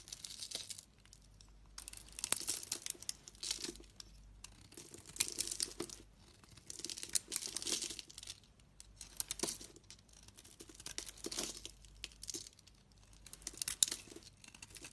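A utility-knife blade scrapes chips off the surface of a partly carved, solid pink and purple striped bar of soap. Repeated bright, crisp scraping and crumbly crunching strokes come in short bursts with quiet pauses between them. The sound is soft and almost entirely high-pitched, with very little low end.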